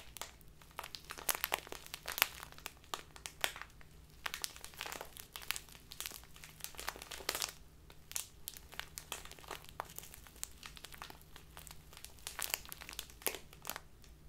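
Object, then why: Thin plastic bag of loose tea. A small, crinkly plastic bag full of loose tea is crinkled and squeezed by fingertips with long nails. Dense, bright crackles and sharp crinkles come in quick bursts throughout, over a faint steady low hum.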